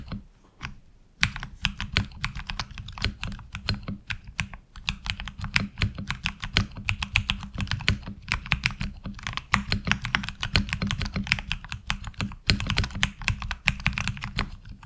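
Both hands type with the fingertips on a HyperX Alloy Origins Core tenkeyless mechanical keyboard with ABS keycaps. After a brief quiet start, a fast, steady stream of sharp, bright clacks follows, each with a short low thock beneath it. The keystrokes stay dense and even throughout, with a few brief pauses.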